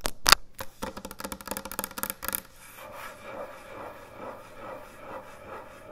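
Long nails scratch and rub slowly across a large, thick, solid end-grain hardwood butcher block cutting board. The first couple of seconds bring quick, sharp, bright rasping strokes. These give way to softer, steady, rhythmic rubbing sweeps across the wood.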